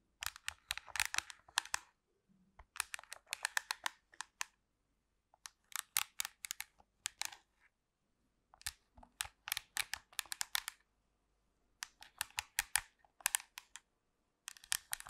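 Long pink nails tap and scratch the back and buttons of a hollow black plastic handheld TV remote control, close to the mic. Bursts of rapid, bright, dry plastic clicks and scratches with almost no low end come in clusters separated by brief silences.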